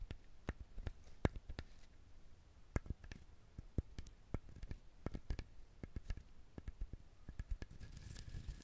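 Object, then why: Husked coconut shell. Fingernails scratch and pick at the fibrous shell of a whole, husked brown coconut with visible eyes. It makes a quiet, irregular series of short, dry scratches and soft taps with a low, dull body and almost no ring. A brief brighter rustle comes near the end.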